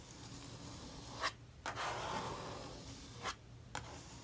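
A handheld metal palette knife is dragged and scraped across the right-hand page of an open paper sketchbook lying flat on a wooden table, spreading thick dark acrylic paint over a drawing to fix an abandoned page. The result is a soft, continuous rasping scrape with brief brighter scratchy accents and short quieter pauses between strokes.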